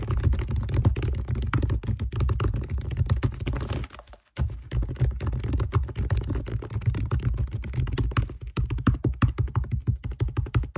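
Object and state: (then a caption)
Glass compact mirror tapped with nails. Long nails rapidly tap the glass surface of a small round compact mirror with a metal rim, held in the other hand. A dense, fast stream of short, dry clicks with a low, thumpy body continues throughout, broken by a brief near-silent pause around four seconds before the rapid tapping resumes.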